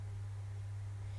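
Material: Nothing is struck.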